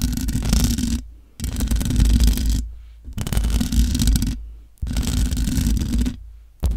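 Long nails on both hands scratch and tap the top of the hollow metal mesh grille of a large black microphone. Dense, crackling scratches with a heavy low rumble come in several long bursts separated by short near-silent pauses.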